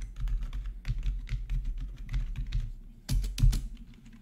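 Fingertips of both hands type steadily on a full-size black plastic membrane gaming keyboard with RGB backlighting and a hollow housing, resting on a marble surface. The quick, muffled taps have a deep, hollow body and short, soft clicks that die away almost at once. Two louder strokes stand out near the end.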